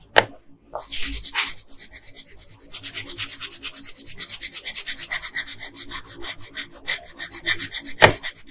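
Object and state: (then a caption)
Colored pencil rubbing on paper. An orange colored pencil rubs across the crown on a flat printed paper coloring sheet in fast rasping strokes. A sharp tap opens the clip, then a steady run of quick, bright, scratchy back-and-forth strokes follows with a louder stroke near the end.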